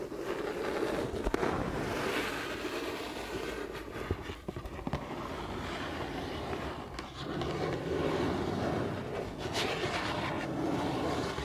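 Long painted fingernails on both hands scratch and rub the front surface of a flat, hollow, printed cardboard Lego box. The result is a steady, dry scratching rustle with a warm midrange body, broken by a few sharp clicks and a brief quieter lull midway.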